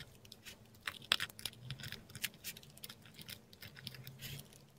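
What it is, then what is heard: Korean paper sheet scratched by a dip pen. A metal dip pen nib writes letters in ink on a flat sheet of textured Korean paper, heard close up. The nib gives quick, dry, bright scratches in irregular short bursts, with a faint low hum beneath.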